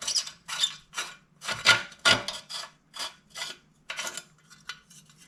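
A tiller's steel engine muffler, which had been exposed to the elements, is shaken to check for bugs. This produces thirteen bright, gritty rattling bursts as loose debris tumbles inside. The contents turn out to be loose carbon buildup with only a little rust, not too bad.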